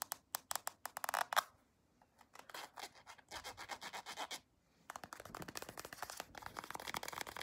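Long acrylic nails scratch along the printed back of a small, soft plastic CeraVe cream tube held sideways. Quick, bright, dry scratching strokes come in rapid bursts, broken by two short pauses, with almost no low end.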